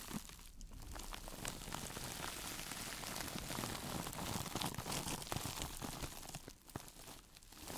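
A single hand-sized woven sisal fiber mesh sponge is held up, squeezed and scratched with long nails and fingertips. The result is a dense, steady crinkling and scratchy rustle with bright crackles throughout, briefly quieting near the end before picking up again.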